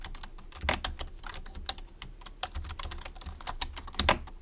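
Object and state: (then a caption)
Plastic computer keyboard. Fingertips type across a white plastic low-profile computer keyboard. A steady run of short, dry, bright key clicks plays over a faint low hum, with a louder burst of clacks near the end.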